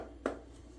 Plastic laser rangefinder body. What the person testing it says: the kind of cheap hollow sound of the body